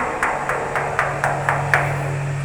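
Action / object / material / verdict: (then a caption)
knock / steel water pressure tank / steel / full. Seven evenly spaced knocks on a water pressure tank that has become waterlogged, full of water from constant use, a fault that keeps tripping the breaker. Each knock lands as a dull, short thud rather than a ringing tone, over a steady low hum.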